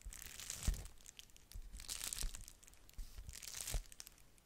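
Long nails scratch and tap across a flat pink-red plastic bubble-wrap padded mailer envelope, crinkling it. Soft, bright crinkling and scratching comes in three swelling bursts, each with a dull low thump near 0.7, 2.25 and 3.75 seconds.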